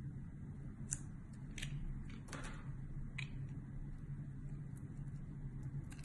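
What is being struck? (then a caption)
Bar of soap cut with a metal blade. Thin slices are shaved off a solid, hand-sized red rectangular bar of soap with a metal utility blade over a white table. Soft, crisp scraping strokes with brief bright edges rise over a quiet, steady low hum.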